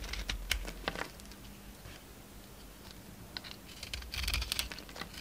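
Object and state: Bar of soap being shaved.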